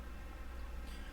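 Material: Nothing is struck.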